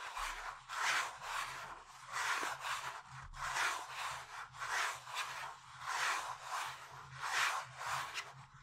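Fingertips tap and lightly rub the front face of a rigid pink cardboard cosmetics box, hollow and closed, held in both hands. The result is a quiet, steady series of soft scratchy brushing swells, each about a second long, with a papery mid-to-bright hiss and almost no low end.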